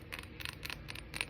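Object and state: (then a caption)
Textured glass candle holder. Fingernails tap a textured glass candle holder five times in quick, light strikes. Each tap is a short, bright glassy click centered around 2.6 kHz that dies away almost instantly, over a faint low rumble.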